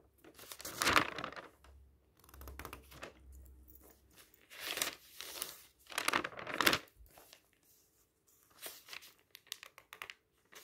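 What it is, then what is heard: Paper magazine pages turned. A hand smooths the thin matte pages of an open magazine with its fingertips and turns them, producing soft, bright paper rustles and crinkles. Louder swishes of turning pages swell around the first second, the fifth second and just past the sixth, with quieter brushing and light ticks between them. A faint low hum sits under the first few seconds.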